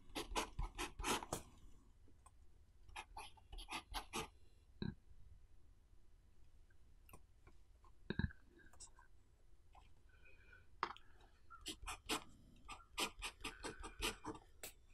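A blue pen writes on the right page of an open paper notebook resting on a wooden desk, with the left hand lying flat on the left page. The quiet recording carries clusters of short, bright scratching strokes as the pen tip moves across the paper, separated by pauses and a few soft low thumps.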